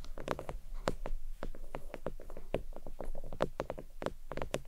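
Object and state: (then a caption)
Faux leather desk mat. Long nails tap quickly and lightly scratch across a thin, flat, red stitched faux leather oval desk mat resting on a towel. The result is a steady patter of soft, dry, muffled taps, mostly low in tone, that die away almost instantly, with faint scratchy brushing between them.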